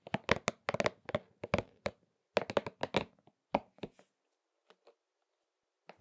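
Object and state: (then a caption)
Rubber spiky massage ball. A pink soft rubber spiky massage ball is squeezed and rubbed between both palms and fingers, making quick bursts of short, dry crackling taps and squeaky rubs with a mid-pitched tone. The bursts come densely at first, then thin out into a few isolated clicks separated by silence.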